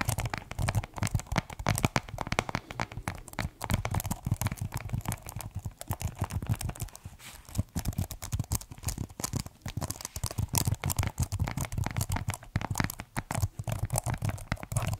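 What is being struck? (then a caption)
Plastic computer keyboard. A slim, hollow white plastic computer keyboard with black keys is held upright in both hands close to the mic while fingertips tap and press the keys. The result is a dense, rapid stream of short, dry clicks and taps with a hollow, low thumping body, continuing steadily with a brief lull midway.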